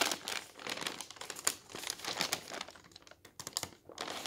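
Fingertips quickly lift and flip the thin pages of an open newsprint newspaper lying on a table, making the paper flutter and rustle. Bright, crinkly bursts of rustling rise and fall in quick succession with almost no low end, and each crackle dies away almost at once.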